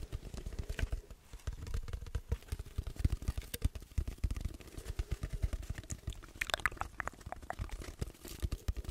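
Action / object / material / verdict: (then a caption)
tap / cardboard tube / cardboard / none. An empty, hollow brown cardboard roll of the paper towel or toilet roll kind, about 25 cm long, is held in both hands in front of a microphone and tapped and scratched with the fingertips and nails, never held to the mouth. Rapid, dry, hollow low thumps patter throughout, with brighter scratchy clicks rising in the later part.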